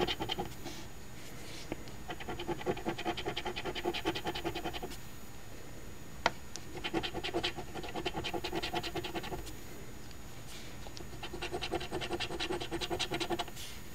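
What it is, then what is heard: Coin scratching a lottery ticket. A coin held in the fingers scratches the silver latex coating off the number spots of a flat, thin paper-card $2 Ontario OLG Quest For Gold instant lottery ticket, which one hand holds down on a table. Rapid, short, raspy scratching strokes come in three bursts separated by brief pauses, with an occasional sharper tick in between.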